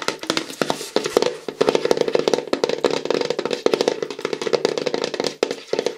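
A large, hollow, light-blue plastic bottle is tapped rapidly with fingernails, held upright and then sideways. It gives a dense stream of short, dry clicking taps with a hollow resonance in the mid range and a faint bright edge.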